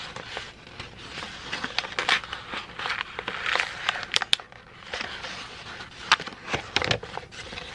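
A crumpled sheet of thin white printer paper is rubbed and crinkled with fingertips, giving steady, bright crackling and rustling concentrated in the upper range around 3.5 kHz, with little low end. Sharp, louder snaps break through the dense crinkle, especially near the middle and toward the end of the clip.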